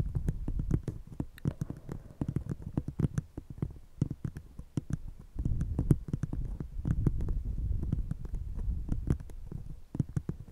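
An empty, hollow brown paper coffee cup held over a fluffy microphone is tapped rapidly with the long nails of one hand, while the other cup stays untouched. The taps land as quick, dull, muffled thumps, deep and bassy with almost no brightness, each one stopping dead. They run in dense, uneven flurries that dip briefly around the fourth and tenth seconds.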